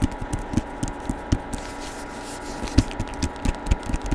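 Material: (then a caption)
Cardboard. Fingertips tap and scratch the glossy printed cover of a hardcover book showing a woman's face, held in both hands close to the microphone. About fourteen short, dull, low-pitched taps come at an uneven pace, with a softer stretch of faint scratching in the middle. Each tap dies away almost instantly.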